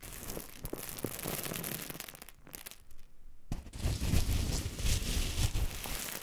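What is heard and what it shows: Green and pink silicone spatula tips poke, scrape and stir through a loose heap of coarse pink Himalayan rock salt crystals. The grains give a dense, gritty crackle and crunch with a low rumble beneath. A brief quieter gap around the middle is followed by louder, fuller scraping.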